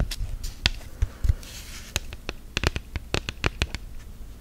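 Long gel nails tap and scratch an orange silicone phone case on a smartphone, lying flat and rigid. Quick, dry clicks with a bright edge and a soft low thump stop almost instantly, and a brief soft scratching hiss sits between the taps.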